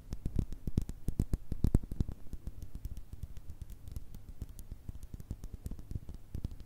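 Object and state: Small glass jar with cork lid.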